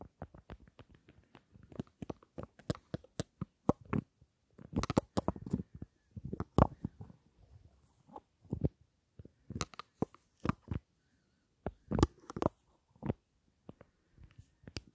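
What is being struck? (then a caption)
Small metal-framed lipstick case. Long nails tap quickly on a small rectangular lipstick case with a gold metal frame and black panels. The sharp, dry clicks come in uneven bursts and clusters with brief pauses, each tap short with almost no ring and a soft, low body.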